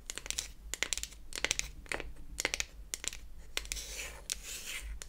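Long acrylic nails tap and scratch the flat beech-wood back of a closed wooden toy eyeshadow palette held in the hands. Quick, bright clicks come in uneven clusters, with dry scratching rasps between them. Each tap stops dead with no ring, over a faint low hum.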